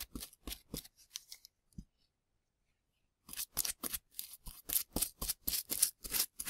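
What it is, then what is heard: Plaster excavation block being brushed. A gloved hand sweeps plaster dust with a small bristle brush across a dusty plaster excavation block surrounding plastic ribs. About 20 short, bright, scratchy brush strokes are heard: a run of softer strokes, a pause of over a second, then quicker and louder strokes to the end.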